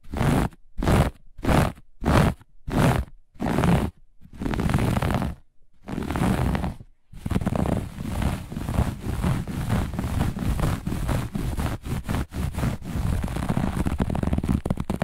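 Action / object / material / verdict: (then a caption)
scrape / looped pile textile carpet / textile / none. Long nails scratch fast across a grey-beige looped pile carpet, with hands moving in and out of frame. Six short, separate bursts of rough, low-heavy scraping are followed by two longer strokes, then a dense, continuous run of rapid scratching through to the end.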